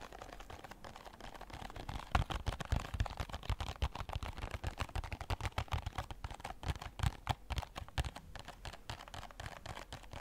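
Fingertips and nails tap rapidly and irregularly on the sides of a small red and white printed cardboard box, a product package held in both hands. The taps make dull, low-heavy thumps with faint dry clicks that stop almost at once, running in a dense, uneven stream with a few louder hits.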